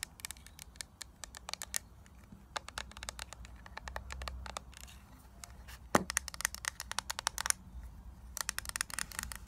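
Long nails tap and scratch the lid and paper-labelled back of a flat, rectangular, hollow clear plastic eyeshadow palette case holding a grid of eyeshadows. Rapid bursts of sharp, bright clicks come with dry scraping over a faint low hum. The loudest tap lands about two-thirds of the way through, followed by quick runs of tapping.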